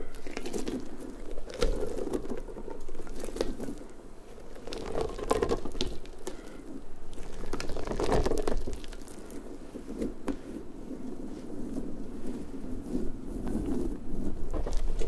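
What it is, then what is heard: Rubber puffer ball. Fingertips and long nails rub and pluck the soft rubber spikes of a large hollow pink rubber puffer ball. The result is a continuous, irregular patter of soft rubbery flicks, squeaks and scratchy rustles, mostly low and warm, with occasional sharper clicks that swell and fade throughout.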